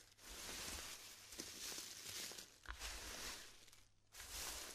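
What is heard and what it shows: Fingertips rub, crumble and break dry chunks of small pastel styrofoam balls glued together, heaped in a round black tray, letting loose beads fall back onto the pile. The sound is a dense, bright crinkling and crackling with soft squeaky rustles, broken by a few short snaps and a brief quiet pause near the end.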